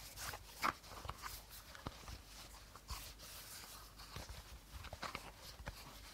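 Short nails tap and scratch the body of an empty, hollow clear plastic bottle with a teal cap, held sideways. Quiet, scattered dry taps mix with light crinkly scratching, each tap clicking short and bright with almost no ring.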